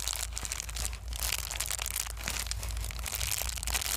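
A small folded sheet of clear plastic bubble wrap is held in both hands and squeezed and crumpled with the fingertips. Dense, bright crinkling runs throughout, with sharp little pops as bubbles burst, over a steady low rumble.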